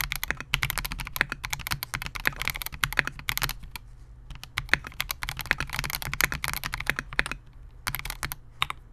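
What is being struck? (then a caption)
Mechanical keyboard with polycarbonate case and plastic keycaps. Both hands type continuously on a Melgeek MOJO68 compact 68-key mechanical keyboard with Gateron G Silver Pro switches, a clear polycarbonate case and SA-profile plastic keycaps, resting on a desk mat. Rapid, bright, clacky keystrokes sound over a low steady hum, with a brief lull in the middle before the typing picks up again.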